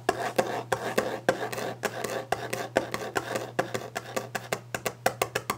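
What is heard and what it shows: Long glitter nails tap rapidly and aggressively on the solid, polished top of a varnished wooden desk, with scratching against the surface between taps. The taps are short, dry, woody knocks with a mid-range tone that speed up toward the end, over a steady low hum.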